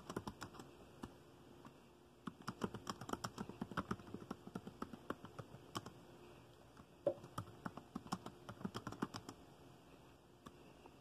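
Fingertips tap steadily on the keys of a dark plastic laptop keyboard while typing. The result is a run of quick, dry, muted clicks that come in bursts with brief pauses between them, and each click dies away almost at once.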